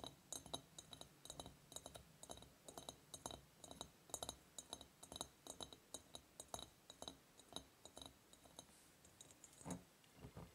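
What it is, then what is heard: Glass surface tapped with fingers. A glass object is tapped with the fingers in a steady run of light, quick taps. Each tap gives a short, bright glassy clink that dies away almost at once, with no talking.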